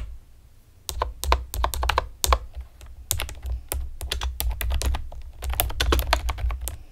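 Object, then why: Plastic computer keyboard. Long painted nails and fingertips type rapidly on a pastel plastic typewriter-style computer keyboard with round retro keycaps and hollow keys. After a brief quiet start, short, crisp, bright clicks tap out in an irregular, fast rhythm over a steady low rumble. Each click dies away almost instantly.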